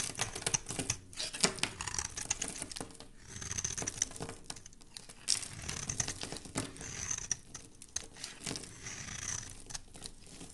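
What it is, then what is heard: Soap bar being shaved. A metal blade shaves the edge of a solid, embossed white soap bar held in the hand. It makes a quiet, steady stream of bright, crisp scraping and crinkling with many small ticks as thin curls come off, over a soft low rumble.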